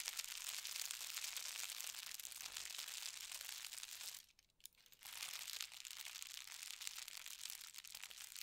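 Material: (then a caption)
Paper. Fingertips with red nails scratch and smooth a thin white tissue paper sheet with a gold star print lying flat on a bed. The result is a steady, bright, crinkly rustle with almost no low end, broken by a brief quiet pause just past the midpoint before the scratching resumes.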